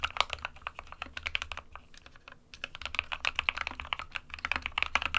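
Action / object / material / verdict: tap / plastic mechanical keyboard / plastic / none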